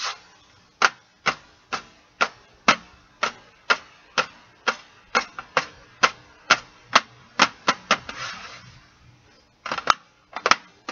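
Fingernails tap and scratch the lid of a flat, closed Stabilo CarbOthello metal pencil tin, hollow and holding pencils, lying on carpet, while the other hand holds a pencil off to the side. A steady run of sharp, dry, bright clicks comes about twice per second with almost no ring, then a brief scratchy rustle, then a quick final cluster of taps.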